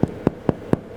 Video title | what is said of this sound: Pain Rustique - Real Taste Kitchen - Bread & Co Recipe | give the bottom attack if it sounds Hollow it's ready